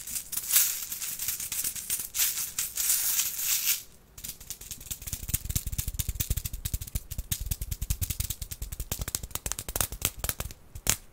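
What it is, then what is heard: Container with beads inside. Small containers holding beads are handled. For about four seconds there is a steady, bright, hissing rattle of beads shaking. After a brief lull come many quick, dry rattles and clicks with soft low knocks, ending in one sharper rattle.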